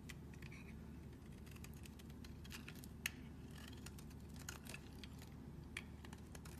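A metal utility knife blade shaves curls off a solid square tan-yellow bar of soap held in a hand with long nails. Quiet, rapid crisp scraping and ticking carries over a steady low hum, with a few sharper clicks standing out, the loudest near the middle.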